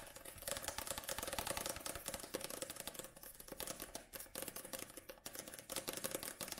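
Long nails tap quickly on the black glossy card back cover of a paperback book, held tilted with its page edges visible. The result is a rapid, typing-like patter of short, dry, bright clicks with a faint tone around 535 Hz, steady and continuous with slight rises and dips in loudness.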